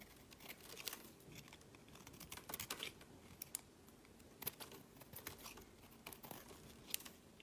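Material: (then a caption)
Soap. A solid, rounded square bar of peach soap is held in the hand and its surface is carved and scraped with a metal utility blade, with flakes falling onto a woven mat. The scraping comes as quiet, dry, crinkly strokes and sharp ticks, mostly bright and high with little low end. The strokes come in uneven bursts and each one stops at once.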